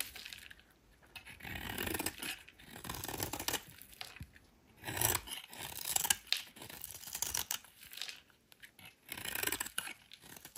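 A metal utility knife blade carves the edge of a solid rectangular white soap bar held in hand, shaving it into thin curls. Repeated crisp, bright scraping strokes rise and fade in bursts, with a dry crunching, tearing texture and little low end.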